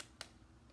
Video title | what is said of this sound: What shape do we see in the object? | if I tap on it it makes the tapping sound it's very quiet